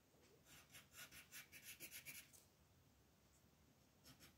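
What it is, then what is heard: Colored pencil shading on paper. A green wooden colored pencil shades leaves on a flat white paper coloring page lying on a table, while the other hand holds the sheet steady. Quick, bright, scratchy back-and-forth strokes come in a steady run of about four per second, then pause into a soft hiss before a couple more strokes return at the end.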